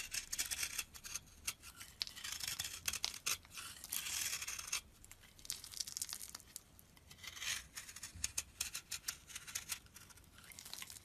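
A solid cream bar soap block held in a palm is scraped and carved with a metal box-cutter blade. Dense, bright, crisp scraping and shaving strokes come in bursts with short quiet gaps, carrying almost no low end.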